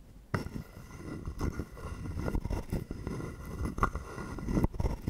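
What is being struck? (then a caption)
Carved wooden frog guiro. A wooden stick is drawn across the ridges of a hollow, carved, palm-sized wooden frog guiro held in one hand. A dense, low rasping scrape starts abruptly and runs continuously, with short clicking bursts and a few louder strokes. It breaks off briefly near the end before resuming.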